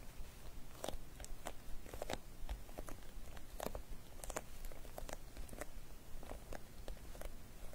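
A small clear vinyl travel cosmetic pouch with pink metallic trim and loose glitter inside, lying flat, is tapped and scratched with long dark nails. Quick, crisp plastic clicks and crinkly scratches come in an irregular stream over a low, steady rumble, each tap dying away almost at once.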